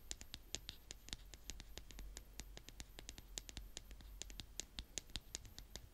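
A blue plastic toy spade, held with fingertips and long painted nails, is scraped repeatedly across the surface of a brown kinetic sand mound. Quick, crunchy scratching strokes with short, bright, crackling clicks follow one another rapidly over a soft low rumble, each dying away almost instantly.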